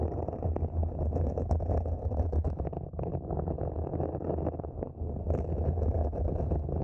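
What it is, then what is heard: Plastic mini planter being scratched. Long nails rapidly scratch the sides of a small matte black hollow mini planter, likely plastic, using both hands. The result is a dense, continuous scraping texture with a low, hollow rumble and little high-end brightness.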